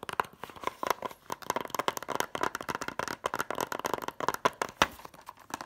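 A closed, hollow white plastic DVD case for *Catch Me If You Can*, held in the hand, has its cover fast-tapped with long nails and fingertips. The result is a rapid, uneven run of dry, crisp clicks and taps centered in the midrange around 1.3 kHz, with almost no low end and no ring after each tap.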